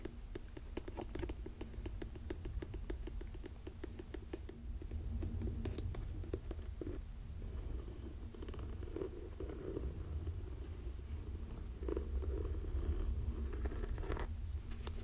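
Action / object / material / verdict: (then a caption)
tap / suede leather lace-up boot / suede leather / none. Fingernails tap the heel and scratch the upper of a burgundy suede leather lace-up boot. Quick, soft taps come fast over a deep, steady low rumble, giving way to slower brushing scratches.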